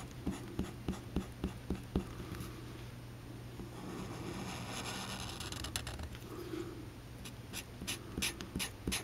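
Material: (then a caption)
Card. A black felt-tip Sharpie marker scratches and rubs across a flat sheet of thin white card resting on a green cutting mat while drawing, with fingers holding the card still. Quick, sharp tapping strokes open the clip, giving way to a longer, continuous scratchy rub in the middle, then more clicky dabs and scratches near the end. A steady low hum runs underneath throughout.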